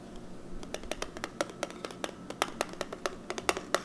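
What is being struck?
Plastic eyeshadow palette with clear lid.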